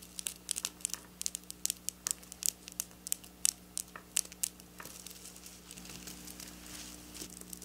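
Long black nails scratch and pinch at the rows of a flat silver sequin fabric. Bright, crisp clicks and crinkly ticks come in quick, separate bursts for the first few seconds, then ease into a softer, continuous high scratching rustle over a faint low steady hum.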